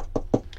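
Knuckle knocks on a thin plastic camper-van table top give two short, dull, hollow thuds in the low-mids with almost no ring, followed by a faint brighter tick. The top sounds hollow and too light, and it is thin enough that it may break under a hard press, so it is due to be replaced.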